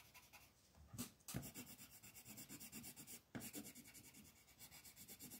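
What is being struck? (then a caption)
Colored pencil on a thin paper coloring page. A black colored pencil is rubbed and scratched across a thin paper coloring book page lying flat on a table in quick shading strokes, while the other hand holds the sheet. The result is a steady, rhythmic, bright scratchy rasp with a few louder strokes along the way.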